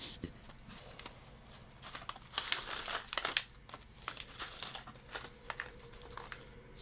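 A small, full, printed plastic pouch of Sensible Foods sweet corn crunch dried snack is held in one hand and turned over while fingers squeeze and crinkle the bag. Bright, dry crinkles come in irregular bursts over a quiet background, each dying away almost at once, with the loudest flurries in the middle.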